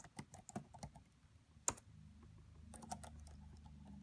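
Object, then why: Plastic laptop keyboard. Both hands type with fingertips and long French-manicured nails on the black plastic chiclet keys of a red laptop with a hollow body. Quiet, irregular clicking taps come, with one sharper, brighter click standing out midway. A low, steady hum rises underneath the later taps.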